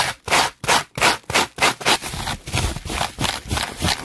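A red-bristled hairbrush is brushed fast and hard across a clear plastic bubble wrap sheet. It makes rapid, bright, scratchy strokes, about three per second. The first strokes are separated by short gaps, then they blur into a denser, continuous crackling scrape.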